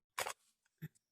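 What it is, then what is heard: Glass spice jar. A newly bought glass spice jar, priced at $49.90, is knocked on twice. The first knock is a louder, bright clink with a brief ring, and the second is a shorter, fuller tap. Both settle quickly around a pitch near 520 Hz.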